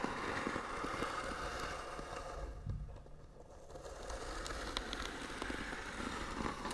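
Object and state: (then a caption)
Painted wooden box being scratched. Long nails scratch and tap across the flat lid of a small, hollow, white-painted wooden box with beaded trim. The result is a steady, dense, crackly scraping with a hollow wooden body and occasional sharper taps. The sound eases quieter for a moment around the middle before the scratching picks back up.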